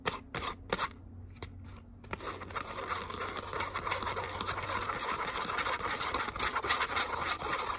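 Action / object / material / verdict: scrape / glitter cardstock letter cutout / cardstock / none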